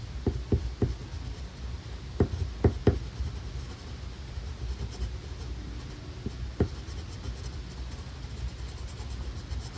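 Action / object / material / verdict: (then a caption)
scrape / paper sheet drawn on with a colored pencil / paper / none. A black colored pencil draws stripes across a flat paper coloring page with steady strokes. Soft, dry scratching sits over a constant low rumble, with several short tapping ticks where strokes begin, mostly in the first three seconds and once more near the seventh second.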